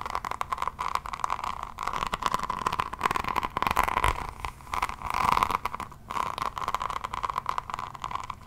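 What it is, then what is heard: Resin rhinestone notebook cover being scratched. Long fingernails scratch across the floral resin-rhinestone cover of a solid hardcover diamond painting notebook held in one hand. The result is a dense, crackly scraping with a bright, steady edge around 1 kHz, rising and falling in waves of strokes with brief pauses between them.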